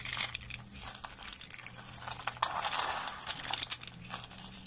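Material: Soap.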